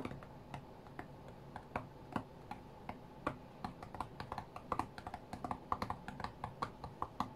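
Fingertips rapidly tap the glass touchscreen of an iPad tablet lying flat on a cutting mat. The result is a quiet, irregular stream of short, dry clicks with a slight mid-pitched knock and almost no ring, over a soft low background rumble.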